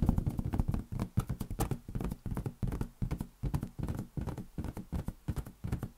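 A large inflated lime-green latex balloon, hollow and air-filled, is held in one palm above a white desk and tapped rapidly with the fingertips of the other hand. The taps come out as a quick, uneven run of soft, hollow low thuds with a short drumlike resonance that dies away almost at once.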